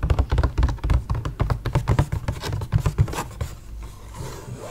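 Fingertips tap and pat the lid of a clear, rigid, hollow plastic clamshell grape punnet, palm-sized and full of green grapes. A quick, uneven run of short, dull, low thumps follows at about four per second with almost no ring. After about three seconds it thins out into quieter soft handling noise.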